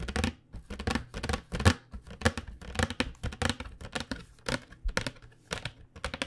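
Long fingernails tap rapidly across the surface of a flat cardboard box of acrylic paint pens held in both hands. The result is a quick, uneven run of crisp, dry clicks with bright edges over a steady low hum.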